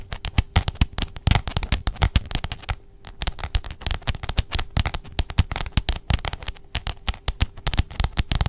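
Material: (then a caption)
Cardboard. Long jeweled nails tap and scratch the glossy pink cover of a letter-size spiral-bound notebook held in front of a microphone. The result is a steady stream of rapid, sharp, dry clicks with a low thump behind them and scratchy rustles between the taps, each tap dying away almost instantly.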